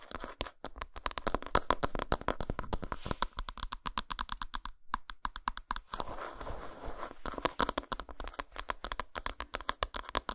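Long nails rapidly tap and scratch the flat back side of an unwrapped solid dark chocolate bar. Dense, sharp, bright clicks with a faint ring near 1 kHz run throughout, broken around the sixth to seventh second by a steadier stretch of hissy scratching before the quick tapping resumes.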